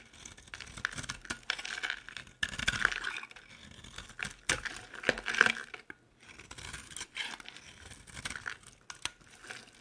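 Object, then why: Bar soap. A utility knife blade repeatedly shaves and scrapes a dry, hand-sized, solid, oval green bar soap with round holes, held in one hand, and crumbly flakes fall off. The clip is filled with crisp, dry crackling and scratchy scraping, with bright crinkly texture and louder bursts of crunching cuts between quieter passes.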